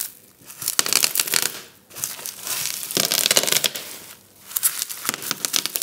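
Fingertips and a palm press the bubbles of a flat sheet of clear plastic bubble wrap lying on a table and rub across the sheet. Bright, dry crinkling and crackling comes in three dense bursts separated by brief quieter lulls, with little low-end weight.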